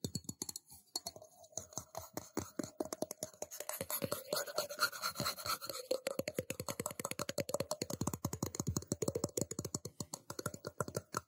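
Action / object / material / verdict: tap / metal cup / metal / none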